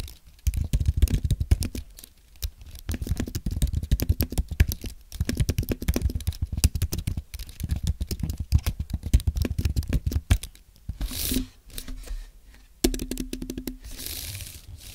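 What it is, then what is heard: Low-profile aluminum and plastic keyboard being typed on. Fingertips from both hands type on a white Apple Magic Keyboard with low-profile plastic keys on a thin aluminum base, ending with the right hand pressing keys on the right side. Rapid, soft, low clicks come in dense bursts separated by short pauses, with each tap dying away almost instantly.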